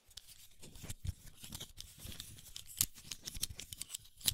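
A small, round, hollow black plastic snap-on camera lens cap is held in both hands close to the mic while fingertips pinch its side clips so it clicks, and short fingernails tap and scratch its surface. The result is a rapid, irregular series of dry, bright plastic clicks and taps with very short decay, mixed with faint scratching and soft low handling thumps.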